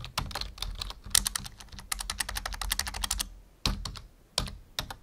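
Fingertips type on a full-size black plastic membrane keyboard resting on a wooden desk. Quick, bright, clicky keystrokes with soft low thumps run in a steady stream, then break into short pauses with a few louder, isolated key presses near the end.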